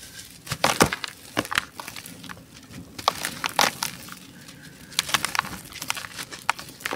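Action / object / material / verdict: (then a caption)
scrape / molded sand-cement mound / sand-cement / none. A solid, dry, beige molded sand-cement dome is pressed with the thumbs, lifted and crumbled by hand into a green basin. Gritty crushing crackles and brief bright snaps are heard over a soft, dusty hiss of pouring grains. The loose crumbs trickle and settle in the basin.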